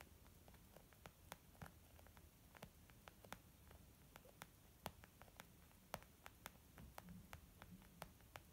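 Long nails slowly tap a small white textured leather zip makeup bag lying flat, which sounds soft and hollow. Each tap is a short, sharp click that dies away almost at once, spaced unevenly over a quiet, steady low hiss and hum.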